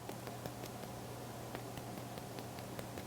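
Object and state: Baked bun with a crisp crust.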